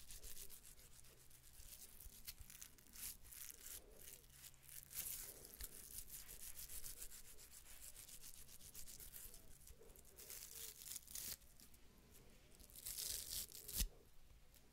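Long nails rub and scratch rapidly across the ridges of a small, hollow, ribbed wooden cylinder. The result is a quiet, continuous sanding-like rasp made of dense, bright scratchy bursts over a low, steady hum. A louder, sharper scrape comes near the end.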